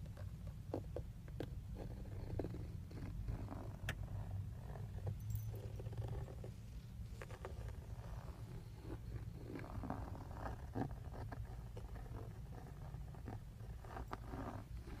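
Fingertips and short nails tap and scratch the textured black plastic airbag cover on a steering wheel. Quick, dull taps and soft scratching strokes sit over a steady low rumble that fills most of the sound. The taps die away almost instantly and nothing rings after them.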